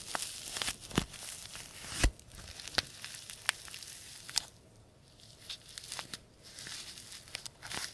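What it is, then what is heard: Paper tea bag envelope being crinkled. A small white-and-green printed paper tea bag envelope is creased, crinkled and rubbed between the fingertips of both hands. Bright, crisp crinkling and tearing-like rustles are punctuated by sharp, dry crackles. Quieter stretches of soft rubbing fall between them.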